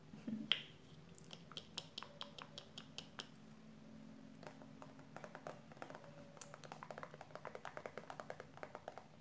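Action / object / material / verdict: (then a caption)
tap / plastic cosmetic squeeze tube with plastic cap / plastic / none. Long purple nails tap the pink plastic cap and the body of a 150 g plastic squeeze tube of hair conditioner. The result is a steady run of short, dry, bright clicks that stop instantly, with a faint low hum underneath.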